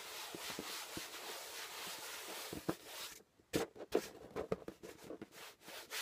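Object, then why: Corrugated cardboard box. A flat hand rubs the top of a closed, labeled corrugated cardboard shipping box, making a steady, dry, broadband swishing for about three seconds. After a brief pause, fingers scratch the same surface in a run of sharp, bright, papery scrapes with quick stops between them.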